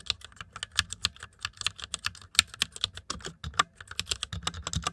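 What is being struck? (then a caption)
Plastic mechanical computer keyboard. Fingertips type quickly on the plastic keycaps of a white plastic mechanical computer keyboard, producing a rapid run of about 25 short, bright clicks and clacks. Each keystroke is crisp and dies away almost instantly, with only a faint low thump underneath.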